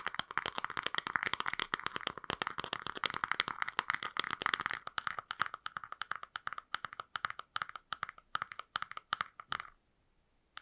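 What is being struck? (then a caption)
Small frosted plastic box. A small, hollow, translucent frosted plastic box is held in both hands and tapped and scratched with long nails. The result is a rapid, crisp stream of dry clicks and scratchy taps, thin and bright, with almost no low end. The taps are dense at first, then space out into a slower, steadier pattern before stopping into near silence just before the end.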